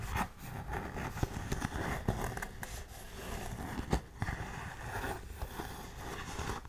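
Long nails scratch and rub the toe and side of a tan suede lace-up boot held close up. The result is a soft, steady, low-heavy scratching and brushing texture, broken by a few sharper clicks.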